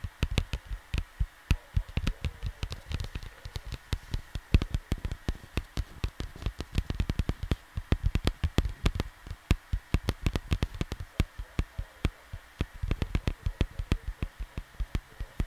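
Fingertips tap and drum rapidly across the surface of a large, flat, printed cardboard LP sleeve lying on a desk, close to the microphone. Dozens of short, dull, low thumps come in quick, uneven bursts, each dying away almost instantly with a faint papery click on top.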